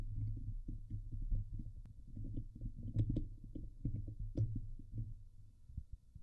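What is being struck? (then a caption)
Woven steel mesh microphone grille. Long glittery painted nails on both hands scratch the hollow, domed woven steel mesh grille of a silver Blue Yeti microphone, the same mic doing the recording. The result is a dense, muffled run of low, boomy rubbing and scraping, with a few brief brighter clicks cutting through.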